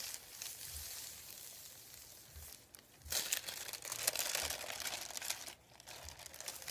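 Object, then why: Thin printed paper sheet. Fingertips rub and crinkle a thin sheet of printed white paper resting on a wooden table. The sound is a dry, bright, hissy crinkling, soft for the first three seconds and then louder and busier. It dips briefly near the end before the rustling resumes.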